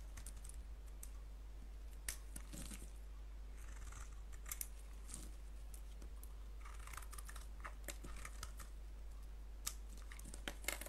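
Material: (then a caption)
Soap. A solid white soap bar with a blue rim, held in the palm, is scraped with a blade. Soft, crisp shaving and scratching strokes and sharp bright clicks come in irregular bursts over a steady low hum.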